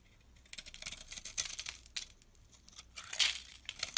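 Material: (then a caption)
Soap. A metal blade scrapes a small, solid brown soap bar held in the hand, cutting it into crumbly shavings. After a brief quiet start, bright, crisp scraping and crackling bursts come in uneven strokes, almost entirely high in pitch with almost no low end. A final sharp scrape closes the clip.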